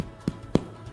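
A homemade bread loaf, just taken out of its tin after baking, is tapped twice. Each tap gives a short, dull, hollow thud centred low around 176 Hz that dies away almost at once. The hollow sound shows the loaf is baked through, and it is confirmed cooked inside.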